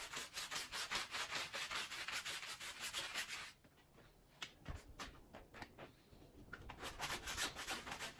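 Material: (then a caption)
Wool textile. A green push broom scrubs its bristles back and forth over a small, wet, foamy red-and-blue woven pile rug (wool-type textile, Persian) lying on the floor. Quick, steady, bright scratchy strokes pause briefly near the middle, come back as a few sparse scrubs, then pick up into rapid rhythmic scrubbing again.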